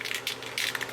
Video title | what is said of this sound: CRC RUST CONVERTER IN ACTION ON CAB SUPPORTS !!! | get the ball rattling I'm going to shake it